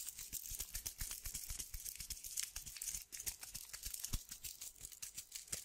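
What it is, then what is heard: Sandpaper strip. A small tan strip of sandpaper is rolled and twisted between fingertips with long dark nails. It makes a dense, bright, gritty crinkling, with quick tearing-like crackles and soft low taps that stop short.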